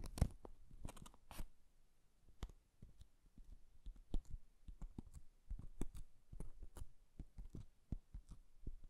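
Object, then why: Small lidded cardboard box covered in paper. Fingertips and nails tap and scratch the sides of a small, hollow, lidded Japanese cardboard box covered in floral washi paper. The result is a quiet, irregular series of dull, low thuds with short, crisp clicks and brief bursts of soft scratching. Each sound dies away almost at once.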